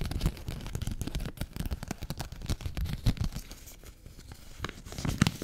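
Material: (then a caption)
Paper. A folded 20 dollar paper bill is rubbed, crinkled and scratched with long fingernails. The result is a dense run of soft crackles and scratchy rustles, mostly low and muffled, with brief bright crisp streaks from the paper.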